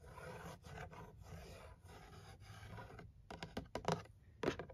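Fingertips and nails work over the top edge and top face of a printed cardboard gift box standing on carpet, the box hollow and filled with products. For about three seconds there is a steady, dry scratching and rustling with a low, rumbly undertone, then it gives way to a run of sharp, short taps that snap and stop quickly.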